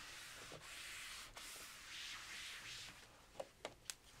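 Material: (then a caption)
Slate. A blue foam eraser held in the hand is rubbed across the flat surface of a large black chalkboard in a wooden frame, wiping off chalk writing. A steady, bright hiss of scrubbing is heard. It ends in three short, sharp taps.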